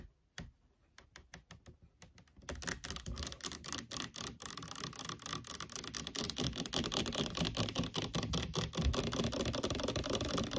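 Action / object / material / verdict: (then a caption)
tap / plastic fabric conditioner bottle / plastic / none. Long nails tap and scratch the sides and label of a large orange plastic fabric conditioner bottle, likely full, standing on a wooden table. A few sparse, hollow taps open the clip, then after about two and a half seconds it turns into a dense, fast, louder stream of clicky tapping and bright scratching that continues to the end.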